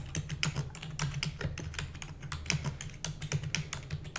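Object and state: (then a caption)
Plastic computer keyboard being typed on. Rapid typing on a full-size black plastic computer keyboard with hollow keys, struck quickly with the long nails and fingertips of both hands. Bright, clicky keystrokes come in a fast, uneven stream, each one sharp and short, over a steady low hum near 145 Hz.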